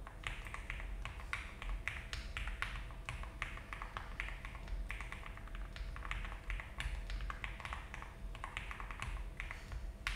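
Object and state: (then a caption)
Mechanical keyboard with plastic keycaps. Both hands type continuously on a full-size mechanical keyboard in a frosted translucent case, with cream and brown GMK ABS plastic keycaps on a polycarbonate plate, resting on a desk mat. The result is a steady stream of quick, soft key clacks with bright clicky tops and short decay over a low, constant hum.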